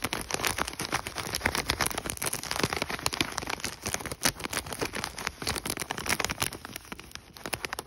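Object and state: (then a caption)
Plastic foil food pouch. Fingertips and nails tap rapidly on the front of an Idahoan mashed potato packet, a thin, flexible plastic/foil food pouch. The result is a dense, bright, crackling patter of quick crinkly taps, almost like rain, with little low end.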